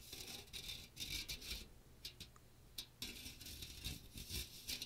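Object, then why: Metal mesh strainer with plastic rim. Fingertips scratch the fine metal mesh dome of a small hollow strainer with a teal plastic rim, held over a microphone. Quiet, bright, hissy rasping comes in uneven bursts with short pauses between them, over a faint low rumble.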